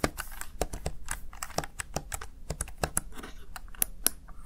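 Fingertips with short nails press and tap the keys of a small black plastic backlit Razer Tartarus Chroma gaming keypad. The result is a quick, uneven run of sharp, bright plastic clicks and taps, each dying out almost at once over a faint low hum.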